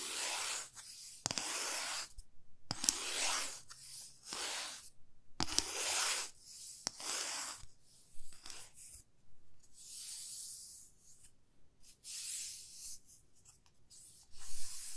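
Long fingernails slowly scratch along the length of a 30 cm solid, light wooden ruler held horizontally. A series of bright, dry rasping strokes comes in bursts separated by short pauses, with some strokes fading to softer scraping. A few sharp ticks stand out within the strokes.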